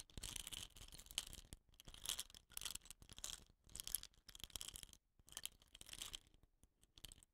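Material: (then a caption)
Bamboo. Fingertips scratch and rub along a hollow, painted bamboo rain stick with a rattan end cap. Quiet, bright, dry scratching comes in repeated bursts separated by brief silences, with little low end.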